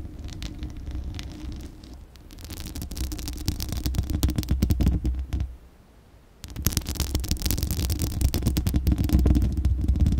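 Long acrylic nails scratch and tap the bare, hollow steel mesh grille of a large condenser microphone, producing a dense, rumbling scrape heavy in the low end with rapid crackling ticks on top. The scratching builds, stops for about a second, then resumes even louder and busier.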